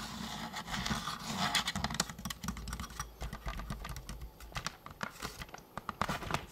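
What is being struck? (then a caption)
Plastic toy blaster. A hollow orange and blue plastic Nerf toy blaster is tapped quickly with fingertips along its body and barrel. The result is a fast, uneven patter of dry, hollow plastic clicks with a soft low thump under each. The taps die out almost instantly.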